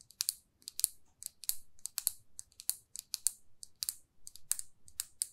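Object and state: Lacquered lipstick tube.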